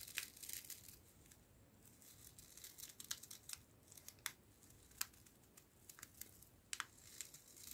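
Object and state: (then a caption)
Foil coffee sachet crinkled. A small, filled green Jacobs 3in1 instant coffee stick made of foil laminate, held upright, is crinkled and scratched by fingertips with long nails. Quiet, bright crackles and sharp scratchy clicks come in uneven bursts over a soft hiss, with no low end.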